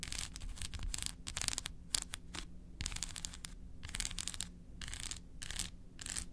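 Long acrylic nails tap and scratch across the segmented face of a large, flat, solid, unwrapped milk chocolate bar held in one hand. Quick bursts of bright, dry scratching alternate with short gaps and crisp taps. A faint steady low hum runs underneath.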